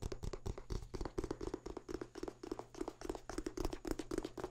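A printed paper booklet or small book is held open close up while fingertips scratch and riffle its pages. The result is a quick, irregular run of soft, dry scratches and rustles with a papery mid-range body, each one dying away almost instantly over a faint steady low hum.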